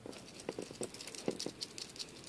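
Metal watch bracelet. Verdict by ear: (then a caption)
Hollow. An Orient Ray watch's original metal bracelet, with hollow end links, is shaken as a test, giving a light, quick metallic rattle of many small clicks and taps. The bracelet is judged not as heavy or solid as the replacement and is doubted to be stainless steel.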